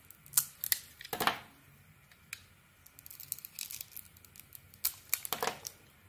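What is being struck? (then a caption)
Bar of soap carved with a small metal blade. A small metal blade carves and scrapes curled shavings off a palm-sized, solid purple bar of soap with a printed pattern, held in one hand, exposing its white interior. The cuts come as short, crisp, bright scraping bursts with quick, dry decay and almost no low end. They arrive in uneven clusters separated by quiet pauses.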